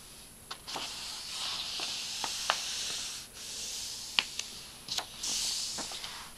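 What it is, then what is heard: Paper picture book pages being rubbed. An open illustrated storybook with thin glossy paper pages lies flat on carpet as a page is turned, then a flat palm and fingertips smooth and rub across the open pages. A soft, bright papery hiss swells and fades with the strokes, broken by several short, crisp ticks and crinkles.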